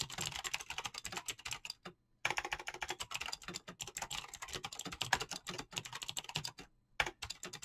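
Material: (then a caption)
Plastic. Fast typing with fingertips and nails on a backlit mechanical keyboard with clicky green switches and pastel PBT plastic keycaps. It produces a rapid, dense stream of sharp, bright clicks with very short decay and little low end. The stream breaks into brief pauses just before 2 seconds and near 7 seconds.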